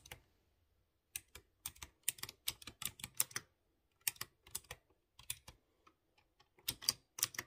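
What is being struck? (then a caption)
Mechanical keyboard with round metal keycaps and plastic case. A light blue plastic mechanical keyboard with round chrome keycaps on clear-housed blue switches is typed slowly with the fingertips. Sharp, bright clicky taps come in uneven bursts with brief pauses, each keystroke short and crisp with almost no low end.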